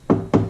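Two knocks land on a sheet-metal car door panel fully covered with sound-deadening mat. Each knock gives a dull, low thud around 100–200 Hz that dies out quickly, with no metallic ring. The treated door sounds solid.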